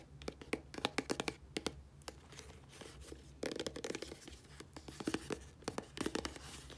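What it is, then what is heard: Plastic squeeze tube. Long nails scratch and tap the body of a 60 ml dark plastic squeeze tube of body wash with a blue cap, held upright. Sharp, bright clicks land in quick clusters, with scratchy rustling between them and a denser burst of scraping midway. A faint low hum sits underneath.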